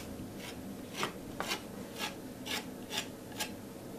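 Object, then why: Metal palette knife on acrylic-painted canvas board. A metal palette knife scrapes in short strokes across a flat canvas board coated in textured teal and pink acrylic paint. Each stroke is a brief, dry, bright rasp, repeating at an uneven pace over a soft steady hiss.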